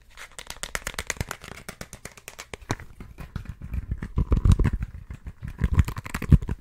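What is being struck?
Plastic phone case with pop grip.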